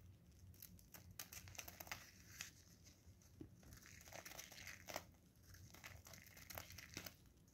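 A solid blue bar of soap, held in gloved hands, is shaved with a craft knife blade, giving a quiet run of crisp, bright scraping and crinkling strokes over a low background hum. Curls and flakes of soap fall onto paper with a soft pattering rustle.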